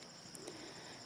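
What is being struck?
Nothing is struck.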